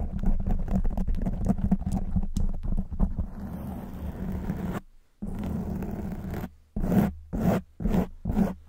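Long white acrylic nails on both hands scratch a soft, porous black open-cell foam windscreen over a silver condenser microphone. Quick, muffled, bass-heavy scratches at first give way to a continuous rub, then a brief silence. Steadier rubbing follows, ending in four separate scratching bursts.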